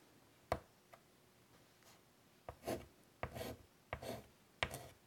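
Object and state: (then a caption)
Chalk drawing on a wood-framed chalkboard. A white chalk stick is drawn across a large, flat, wood-framed chalkboard, making sharp taps as it meets the surface, each mostly followed by a short, bright, scratchy stroke. The sound is quiet and dry in a hushed setting, with brief pauses between strokes.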